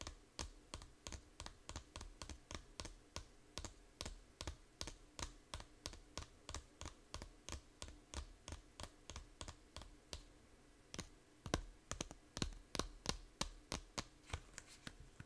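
Long nails tap the edge and cover of a small hollow plastic 3DS game case held sideways, making about 50 crisp, bright clicks in a steady, quick rhythm. Each tap is short and dry with a soft low thump beneath it. The tapping briefly thins out around ten seconds, then returns with several louder hits.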